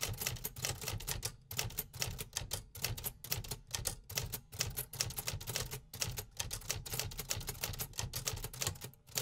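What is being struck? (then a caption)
Metal typewriter. A hollow metal-bodied 1950s vintage typewriter is typed on with fingertips, producing a steady stream of sharp, bright typebar strikes that snap against the platen. Each clack dies away almost at once over a low mechanical thump, with brief pauses breaking up the rapid, repetitive rhythm.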